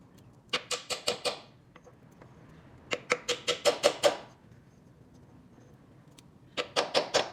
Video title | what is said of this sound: Tentando consertar VAZAMENTO de óleo que o mecânico não conseguiu! | そこに当たると、木の音が変化するので、取り付けが完了したことがわかります